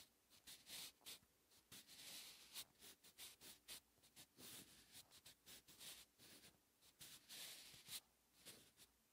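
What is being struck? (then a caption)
Graphite pencil on a paper notebook page. A wooden graphite pencil is held in the hand and scratches across a thin lined paper notebook page lying flat, writing cursive Hangul. The strokes come as quick, bright, hissy scratches in short bursts with little low end, and the same page and pencil are used throughout.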